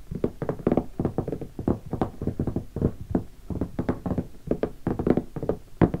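Fingertips of both hands tap rapidly on the top of a closed, hollow, sticker-covered guitar hard case of black leatherette with brass latches, lying on carpet. The taps make a steady run of short, dull, hollow knocks with a low-mid resonant tone and almost no ring.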